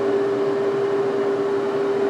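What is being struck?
Nothing is struck.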